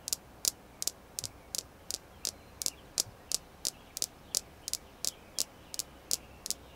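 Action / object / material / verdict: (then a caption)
tap / small polished red jasper stone star / jasper / none. Long nails tap a small, solid, polished red jasper star stone in a steady rhythm, producing 19 crisp, bright clicks roughly every third of a second. Each click is very short and dry, dying away almost instantly, over a faint low hum.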